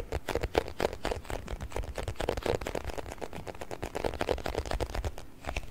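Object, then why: Small plastic food container filled with water beads. A small round clear plastic food container with a blue lid, filled with water beads, is held in both hands close to the mic and tapped and scratched with fingertips and nails. It produces a steady stream of quick, dry, irregular clicks and taps over soft low thumps and a faint scratching hiss, with each hit dying away instantly.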